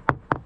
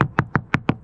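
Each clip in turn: First: Three quick hammer taps, dull and boxy, dying at once: a hollow, delaminated patch of fiberglass deck. Second: Six quick, tight hammer taps on a fiberglass deck, each dying at once: solid, dry core.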